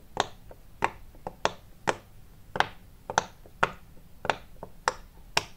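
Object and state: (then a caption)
Silicone pop-it fidget toy. Fingertips press and pop the hollow domed bubbles of a round multicolour silicone pop-it fidget toy, larger than a hand. Twelve short, dry popping clicks come at an uneven pace, each snapping sharply and fading almost at once, with a mid-pitched body and a bright edge.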